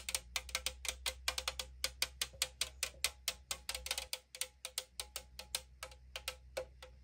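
Long acrylic nails tap and scratch the printed side of a hollow 500 ml AriZona green tea aluminum can held in hand, producing about 36 quick, bright, tinny clicks that ring only briefly, with a pitch near 2 kHz. A faint steady low hum sits underneath the taps.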